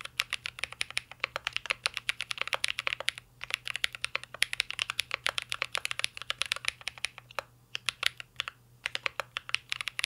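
A mint-green Cyberboard R3 mechanical keyboard with plastic keycaps and a metal case is typed on continuously with the fingertips. It produces a rapid stream of short, bright, dry key clacks that stop almost instantly, with brief pauses near 3, 7.5 and 8.5 seconds.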